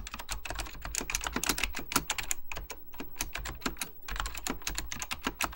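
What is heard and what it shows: Fingertips with short nails type rapidly on an Apple Extended Keyboard II, a plastic mechanical computer keyboard with beige plastic keycaps and a hollow plastic case. A dense, steady stream of sharp, bright key taps with very short decay is heard, each carrying a hollow low thump beneath the clicky top.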